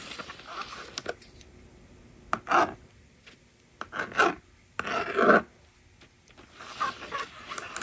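A small plastic magnetic drawing board, a toy resting on a table, is worked as fingers slide its plastic eraser bar and a stylus writes numbers on it. It makes short, dry rasping and sliding strokes in uneven bursts, with quiet pauses between them and the brightest scrapes near the middle of the clip.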